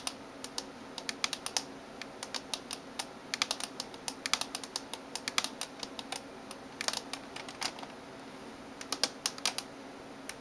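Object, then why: Plastic computer keyboard keys. Fingertips and nails type on the keys of a backlit plastic gaming keyboard. Bright, sharp clicks come in quick bursts with short pauses between them. A faint steady hum and a thin high tone sit underneath throughout.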